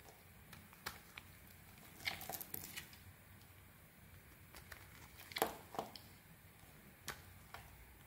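A small metal blade, guided by a thumb wrapped in protective tape, scrapes and carves thin flakes off a hand-sized solid white soap bar held in the hand, with shavings lying on the table around it. Quiet, irregular, soft crisp scrapes and bright crackling cuts come at uneven intervals over a low, steady background hiss.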